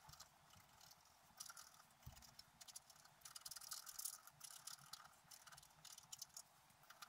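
A wooden stylus scratches across a flat black coated scratch-art paper sheet lying on a table while the other hand rests on the sheet. Quiet, bright, dry scratching comes in quick uneven bursts of short strokes, rising and falling in intensity with almost no low end.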